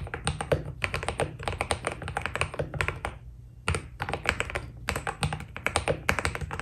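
A white Keydous NJ80 mechanical keyboard with PBT keycaps is typed on steadily with the fingertips of both hands. It gives a fast run of short, dry clacks with a low thocky body and a bright top, pausing briefly midway before resuming. A faint low hum runs underneath throughout.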